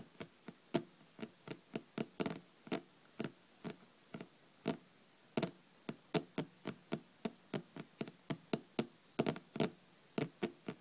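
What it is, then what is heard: Hardcover book, solid. Long red nails tap quickly on the top cover of a thick, solid hardcover paper book lying flat on a table. About 33 short, dry knocks with a low-mid body and almost no ring come in an uneven rhythm, some spaced apart and some in quick clusters.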